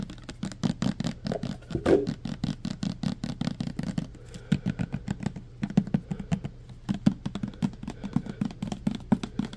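Fingertips and nails tap quickly on the sides and pump of a clear plastic hand sanitizer pump bottle, mostly full of green gel. The result is a dense run of short, dry, hollow taps with a low-mid body and brief bright clicks, easing slightly around the middle before picking up again.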